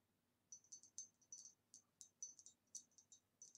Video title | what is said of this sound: ASMR * Tapping on a Beautiful Green Retro Vase * Super Tingly - Glass Sounds * | it makes a very nice tapping sound